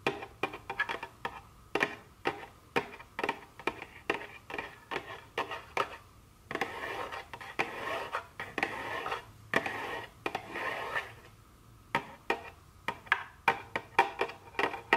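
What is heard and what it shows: A small, hollow printed cardboard box of dark chocolate candy is held in one hand while very long curved nails on the other hand tap and scratch its front face. Quick, sharp, dry taps come in irregular bursts, broken up by longer stretches of continuous scratching around the middle. The result is a bright, papery rattle with almost no low end.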